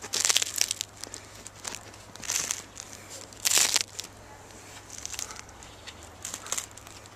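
Freshly baked organic sourdough loaves (tourtes) give off a dry crackling and crinkling from their crust, heard as bursts of bright, high-pitched crackles with quiet gaps between them. The crackle of the crust indicates a well-baked loaf.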